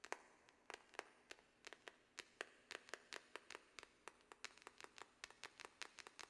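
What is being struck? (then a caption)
Small cardboard box. A small, hollow pink cardboard product box for a Glamnetic nail set is held upright in one hand and tapped with long press-on fingernails. About 29 quick, dry, clicky taps come in an uneven, fluttering rhythm, each bright with a hollow midrange tone and almost no low end. Each tap dies away instantly at a quiet level.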